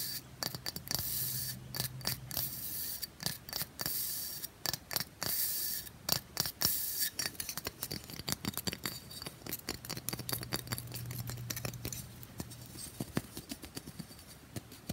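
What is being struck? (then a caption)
Pressed bath bomb brick. Long fingernails quickly tap and scratch the side edge and top of a solid, grid-patterned pressed bath bomb brick held close. Dense, crisp clicks and dry, bright scraping come in rapid bursts over a faint low hum.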